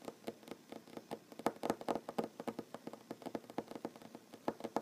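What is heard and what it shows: Short nails tap rapidly on a large solid wooden tabletop, giving around thirty quick, dry taps in an uneven rhythm. Each tap is a soft, midrange knock that dies away almost at once, with little low thump or bright edge.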